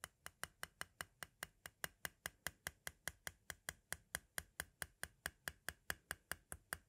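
A metal-tipped green tool taps rapidly near the tape window of a white, hollow plastic audio cassette shell. It makes 33 short, dry clicks at a quick, steady pace, each with a bright edge and a tone around 1.6 kHz. The clicks die away almost instantly.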